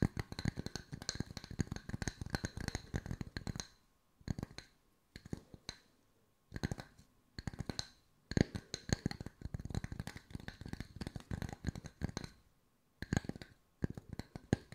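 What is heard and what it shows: Fingertips tap on wooden circles at mixed speeds for ASMR. Bursts of rapid, dry, clicky taps with very short decay are broken by brief silent pauses, and the sound is weighted toward the low end.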